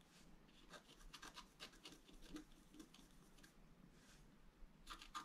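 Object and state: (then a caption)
Scratch-art paper being scraped. A wooden stylus scratches and rubs the coating off a thin, solid, flat black wax-coated scratch-art paper card. Short, dry rasping strokes come in quick bursts with a bright, papery hiss over a faint low rumble, and a cluster of louder scrapes comes at the end.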